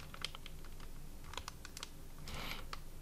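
A hand-sized, thin plastic-film Bourbon Chocoliere biscuit bag, full of individually wrapped biscuits, is held in both hands while fingertips tap on its front. Quick, irregular, crisp taps and short bright crinkles pop out over a low, steady background rumble. A longer crinkly rustle swells near the end before a final tap.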